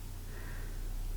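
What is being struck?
Nothing is struck.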